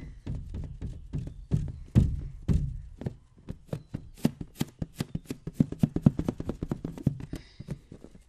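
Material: Latex rubber.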